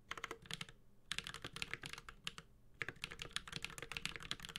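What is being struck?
Mechanical keyboard with aluminium case and plastic keycaps.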